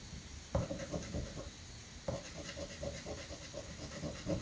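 A metal coin held in the fingers scratches the silver latex coating of a fresh paper scratch-off lottery ticket resting on a granite counter. Quick, gritty scraping strokes repeat with a faint low rumble underneath, and two sharper scrapes start new runs of strokes.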